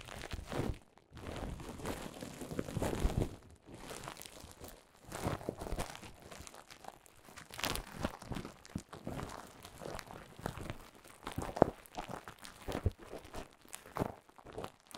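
Clear plastic bubble wrap laid over a microphone is crinkled and scratched with long nails. The result is a close, dense run of crackling and crinkling with sharp, brief snaps, heavy in the low end, broken by short quiet gaps. Occasional louder pops stand out above the steady rustle.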